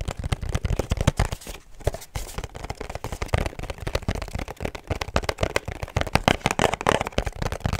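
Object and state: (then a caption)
Cardboard perfume box. A small, rigid, hollow pink cardboard perfume box with a black ribbon is held up and tapped rapidly with long nails. The taps come as a dense stream of short, dry clicks with a hollow low thump and almost no ring, pausing briefly around the two-second mark before resuming.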